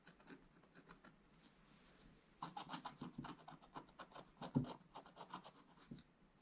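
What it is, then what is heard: Scratch-art page being scratched. A wooden stylus scratches fine lines into a flat, black-coated scratch-art page in a book. A quiet series of short, dry scratching strokes is heard at first, then after a brief near-silent gap the strokes turn louder and denser, with soft papery rasps and a slightly bright edge.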